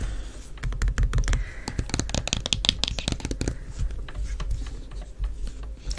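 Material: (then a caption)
Plastic. Long nails tap and scratch quickly on the curved side wall of a closed, medium white plastic cosmetic jar with a black plastic lid, held in one hand. The result is a rapid run of sharp, dry plastic clicks that die away almost instantly, mixed with brief scratchy rasps, over a low steady rumble.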